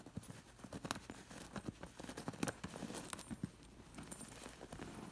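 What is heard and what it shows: Long nails scratch along the sequined edge and metal discs of a white sequined fabric cushion. The result is a quick, uneven run of small clicks and scratchy rustles with faint bright metallic ticks, each sound stopping almost at once.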